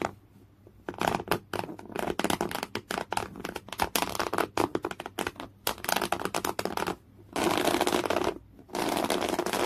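Fingernails scratch a folded piece of thick beige coarse woven cotton canvas in clawing motions. After a near-silent first second, rapid bursts of dry, broadband scratching follow one another. Near the end they merge into two longer, steady rasping strokes.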